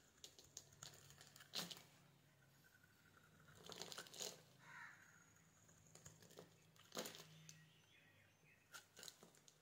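A metal utility knife blade scrapes and cuts small cubes off the end of a solid, hand-sized yellow bar of soap that is pre-scored into a grid and held in one hand, and the cubes crumble onto a wooden surface. The result is quiet, bright, crisp scraping and crumbly crunching, broken by a few sharper cracking snaps as pieces break away.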